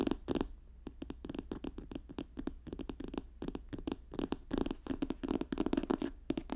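Both hands rapidly tap the plastic cover of a magenta notebook lying flat on a fur rug, using fingertips and nails. Quick, dry clicky taps come in irregular bursts, each dying away almost instantly, with a low, muffled body around 270 Hz.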